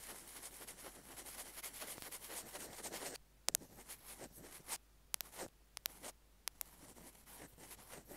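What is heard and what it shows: Metal ear-pick tools scrape and tap the casing of a small white plastic earphone mic/remote. About three seconds of dense, bright, continuous scratching give way to near-quiet, broken by a series of sharp, crisp clicks with short, soft scrapes between them.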